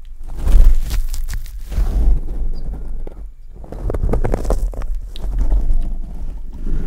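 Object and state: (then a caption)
Metal mesh microphone grille scrubbed with a sponge. A kitchen sponge, with a green abrasive scouring side and yellow-orange foam, is rubbed and scrubbed by hand across the hollow steel wire-mesh grille on top of a large black Blue Yeti USB microphone. The result is a dense, boomy, low-heavy scratching and rustling that swells and fades in uneven passes, with a brief quieter lull near the middle.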